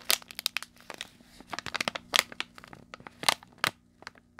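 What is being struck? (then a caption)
Plastic foil snack bag. A small, colorful plastic foil candy bag, filled with its contents, is squeezed, crinkled and scratched by the fingertips of both hands close to the mic. The result is a steady run of sharp, bright crackles and crunchy crinkles, with a few louder crunches standing out. Each snap cuts off almost instantly, and the sound has nearly no low end.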